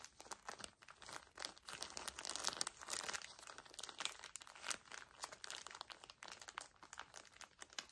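A small pocket pack of paper tissues in a plastic wrapper is gripped and crinkled by both hands. The result is dense, bright, crackling plastic crinkles in rapid, uneven bursts that swell and fade at a quiet overall level, with almost no low end.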